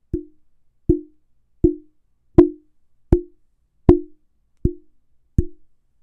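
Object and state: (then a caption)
Microphone body with strong resonance. Eight taps directly on the body of a Neewer NW-700 budget condenser microphone, made to check it for resonant frequencies, each give a short hollow knock with a clear ringing tone around 350 Hz that dies away quickly. The resonance is strong, bad enough that the mic even picks up light touches on its XLR cable.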